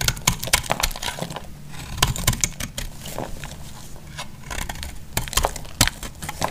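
A solid, semi-dry orange bar of soap is held in the hand and shaved with a metal blade. Rapid, uneven bursts of crisp, bright crackling and scraping snaps come with each stroke over a low, steady rumble. Quieter, softer shaving sounds fill the gaps between them.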